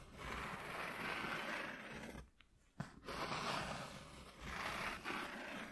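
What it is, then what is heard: Corrugated cardboard sheet. Short fingernails scratch near the edges of a flat white corrugated cardboard piece lying on a dark cloth, making a steady, dry, broadband rasping. The scratching pauses briefly just past the two-second mark, then a sharp tap-like click marks its return before the rasping continues to the end.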